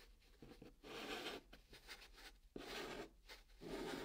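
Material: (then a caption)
Cardboard. A hand draws blue chalk in strokes across the flat top of a brown kraft cardboard box. Each stroke is a dry, scratchy rub with a bright hiss, separated by brief quieter pauses over a faint low hum.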